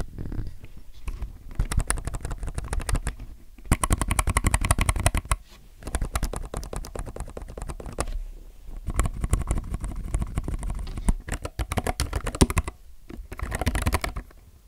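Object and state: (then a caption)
Mechanical keyboard with plastic keycaps. A low-profile mechanical keyboard with white, grey and yellow plastic keycaps in a grey case is typed on with fingertips. Rapid bursts of deep, thocky key clacks with a strong low-end body come in several runs separated by brief pauses, each stroke short and dry.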